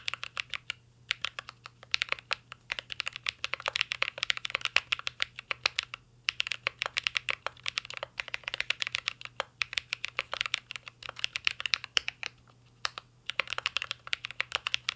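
Fingertips of both hands type steadily on a full-size CYBERBOARD R3 mechanical keyboard with an aluminum case, plastic keycaps and Holy Panda switches. The result is a dense stream of short, bright clacks centered near 2.8 kHz that stop almost instantly, broken by brief pauses around 1, 6 and 13 seconds.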